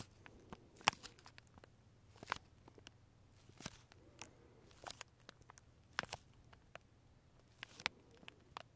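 Fingertips and nails tap and scratch the clear plastic wrapper around a large single labeled Starbucks macaron held in both hands. The result is a quiet series of about sixteen short, bright plastic clicks and crinkly scratches with no ring, set over a low, steady hum.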